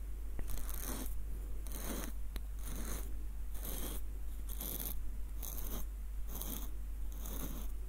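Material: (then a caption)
Wood. Fingertips twist and trace the threaded wooden screw of a small light-wood nutcracker with a hollow bowl, making a ratcheting scrape. Short, bright scraping bursts repeat at a steady rhythm over a constant low hum.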